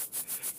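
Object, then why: Air purifier charcoal filter cartridge. The charcoal deodorizing filter of a Bespoke Cube Air purifier, packed tightly with small charcoal pieces in a honeycomb-like structure, is shaken. It gives a bright, hissing granular rattle that rises and falls in quick back-and-forth swells, with almost no low end. The rattle is normal and shows the filter is filled with charcoal.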